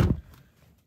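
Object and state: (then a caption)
Solid-sounding car door closing. The rear door of a 2023 Toyota bZ4X AWD is closed, making a single deep, low thud that dies away quickly with little ring. The door sounds solid.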